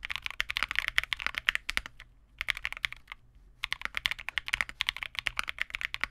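A Vega65 custom 65% mechanical keyboard with re-lubed Cobalt switches, white plastic keycaps and a dark case is typed on continuously with the fingertips of both hands. It gives rapid, bright, dry clacks centered near 1.9 kHz that stop almost instantly, with two brief pauses in the middle before the typing resumes.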